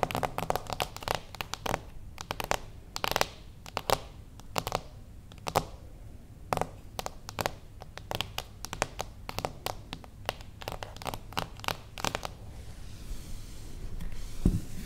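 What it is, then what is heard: Cardboard box tapped with fingernails. Long acrylic nails tap slowly on a small, closed beige cardboard gift box standing on its edge. They make sharp, dry clicks with a hollow low thud and almost no ring, in uneven bursts. Toward the end the tapping thins to one hand, with a soft brushing sound and a final louder knock.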